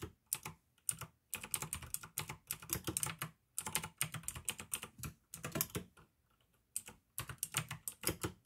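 Fingertips type fast on a full-size pink and white plastic AUKEY mechanical gaming keyboard with blue tactile switches and RGB backlighting. Bright, sharp clicks and clacks come in dense bursts with a low thock underneath, broken by short pauses.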